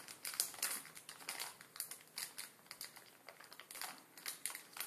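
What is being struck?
Plastic film noodle packet.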